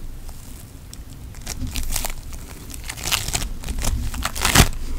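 A lump of pink floam putty, made of foam beads, is kneaded and squeezed with the fingers and thumbs. It gives off a steady run of bright crinkling crackles and small pops over a low rumble. The crackling builds to a sharp, loud burst near the end.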